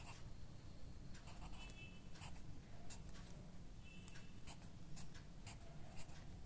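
A ballpoint pen writes on the right-hand page of an open lined paper diary or notebook lying flat. The pen tip scratches and glides across the paper in short, bright strokes over a steady low hum, with several distinct scratches standing out.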